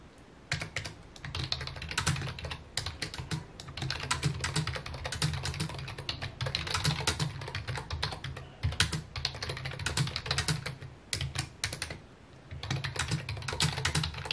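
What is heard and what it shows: Fingertips type rapidly on a full-size white and mint plastic computer keyboard with a hollow housing, resting on a wooden desk. Dense bursts of bright, clicky key taps carry a low, hollow thump from the housing. Brief pauses fall near the 9, 11 and 12 second marks before the typing resumes.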